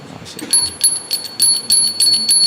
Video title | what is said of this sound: घंटी की आवाज़... या गोपियों के घुँघरू? -- Dr. Keshav Anand Das | ये घंटी अच्छी नहीं है ये ये चेंज करने लायक है ये फ्लो नहीं हो रही सही से